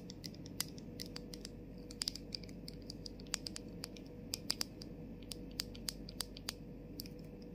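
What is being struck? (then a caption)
Plastic spray bottle and cap. Long nails tap the top and rim of the clear plastic cap on a plastic body mist bottle held close, then tap its labeled body. The taps are sharp, bright plastic clicks that stop instantly, landing in an irregular, unhurried rhythm over a steady low background hum.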